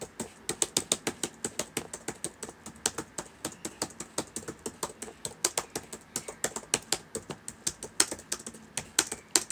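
Fingertips type steadily on the plastic keys of a black laptop keyboard, making about fifty short, crisp clicks. Each keystroke is bright and dry, with almost no low end, and dies away almost instantly. The rhythm stays quick and uneven throughout, with occasional louder taps.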